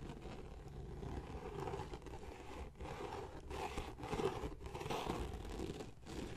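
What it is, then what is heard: Leather journal cover. Fingertips and short nails scratch and tap across the cover of a closed blue leather-bound journal embossed with a Viking ship design, lying on a wooden chest. The result is a continuous, soft, dry scraping texture with a low, dull body and little brightness, broken by a few brief pauses between strokes.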